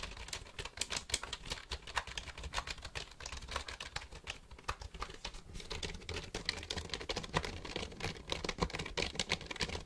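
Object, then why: Plastic computer keyboard. Fingertips tap and click the keys of a black plastic computer keyboard held tilted near the mic. A steady, uneven run of quick, sharp clicks fills the clip. Each click has a bright top and a soft low thump, and dies away almost at once.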